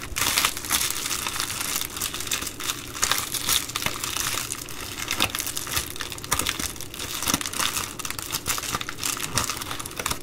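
A long nail scratches along the blue perforated band of an empty Amazon Prime poly bubble mailer. The result is a steady, bright plastic crinkling and scratching with dense small crackles and a few sharper ticks throughout.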